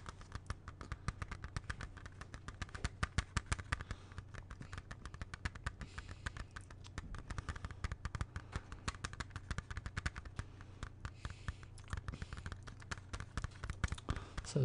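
A closed, hollow, small plastic CD jewel case is held in both hands and tapped rapidly with fingertips and nails for about 15 seconds. The taps are short, dry clicks with almost no ring, some landing harder than others. They sit over a steady low hum.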